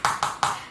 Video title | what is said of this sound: Ten Ways to Keep Your Feet Happy and Comfortable + Shoe Care & a Cameo from Archie! | have a sole that is like real plasticky sounding so when you walk on it it sounds plasticky